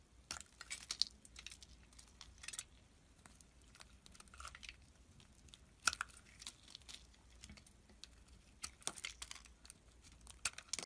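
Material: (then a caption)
Soap. A hand-sized solid white bar of soap, held in one hand, is carved with a utility knife blade that scrapes and shaves chips off in repeated cuts, with the shavings falling onto the table below. The sound is quiet, dry, bright scraping and crisp crackling ticks in short, irregular bursts.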